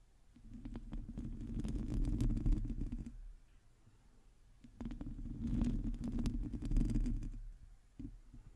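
Long teal nails of both hands scratch a hollow, domed metal mesh microphone grille, producing a dense, rumbling scrape heavy in the lows with a hum-like band near 240 Hz and scattered crackly ticks. The scratching comes in two sustained bursts of about three seconds each, separated by a quiet gap, then a brief final scrape near the end.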